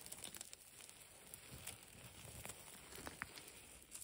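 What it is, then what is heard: Concrete rubble pile. Long pastel nails and fingertips scratch and rake across a pile of dry grey concrete and plaster rubble chunks with dust. The sound is quiet, gritty crackling and crumbling with sharp little clicks and bright hiss throughout.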